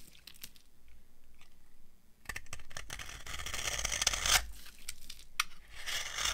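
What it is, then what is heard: Dry soap bar. An old, solid, dry yellow soap bar is shaved into flakes with a metal knife. Dry, crunchy scraping and tearing strokes with sharp clicks build into bright, gritty bursts, quieter at first and louder in the second half.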